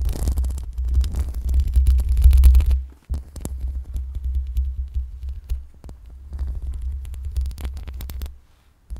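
Long pink acrylic nails slowly scratch the metal mesh grille of a black USB microphone. The scratching comes through as a deep, throbbing low rumble with faint crackly texture, loudest in the first few seconds. It briefly drops out near the three-second mark, then continues more softly before fading near the end.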